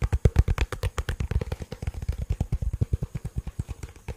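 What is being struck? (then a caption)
Plastic portable speaker casing. A black, cylindrical, hollow plastic portable Bluetooth speaker is held above a microphone and tapped and scratched with fingertips and nails. About 32 quick, dull, bassy taps follow one another in a steady patter, each dying away almost instantly, with faint bright scratchy edges.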